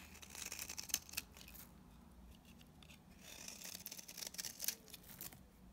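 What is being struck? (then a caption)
Bar soap scraped with a blade. A utility knife blade scrapes brittle curls off a dry, palm-sized, coral-orange bar of soap held in the hand. The sound is a quiet, bright, dry scratching with short crisp snaps, fading to a softer hiss in the middle. The scraping then picks up again with more snaps.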